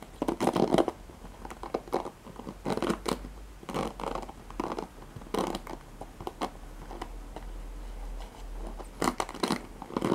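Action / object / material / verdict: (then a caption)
scrape / plastic paddle hairbrush with nylon pin bristles / plastic, nylon / none. Fingertips with medium painted nails scratch and flick the dense nylon pin bristles on the cushion of a handheld black oval plastic paddle hairbrush. The result is bursts of dry, bristly crackling and scratching, mostly in the mids, that come in clusters with quieter rustling between them.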